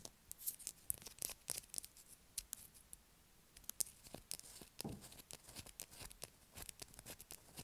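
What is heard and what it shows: A solid blue bar of soap held in the hand is scratched with long acrylic nails. The result is a quiet, rapid series of short, dry scratching and scraping bursts with bright, crisp texture and almost no ring between strokes.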